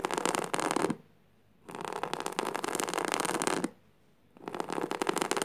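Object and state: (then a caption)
Jute burlap fabric being scratched. Fingertips and nails scratch across flat, coarse woven jute burlap fabric lying on the floor. Three bursts of dense, rough, bright scratching are heard, separated by short near-silent pauses.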